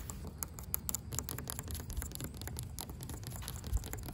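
Long pink acrylic nails tap and scratch a solid, grey, weathered wooden plank or rail outdoors. Quick, dry, bright clicks and scratchy patter come in an uneven stream over a steady low rumble, with each tap dying away almost instantly.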